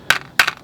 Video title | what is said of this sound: FUN STREET FAIR in Watercolor with easygoing Figures with Chris Petri | you hear that's pretty noisy